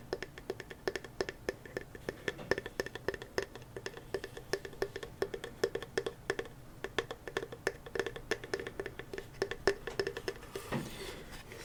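A hand-painted wooden box with contents inside is tapped in a rapid, irregular stream of short, dry knocks with a woody tone around 400 Hz. It is handled gently and kept mostly level because of what it holds. Near the end, a softer, broader rustling sound replaces the taps.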